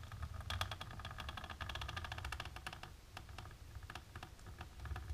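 Long natural pink nails tap and scratch fast across a flat, dark embossed plastic sheet, making a dense run of crisp, bright clicks with a plasticky ring near 1.2 kHz. A steady low rumble sits beneath the rapid tapping, which rises and falls slightly in intensity throughout.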